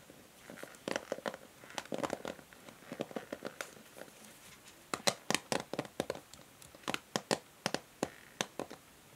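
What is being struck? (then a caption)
Plastic hair brush. Long nails tap and scratch the bristles and edge of a pink and grey plastic hair brush. Quick, dry clicks and brief scratchy rustles come in irregular clusters, with a hollow midrange ring around 580 Hz and bright crackly edges. The taps grow sharper and more spaced out in the second half.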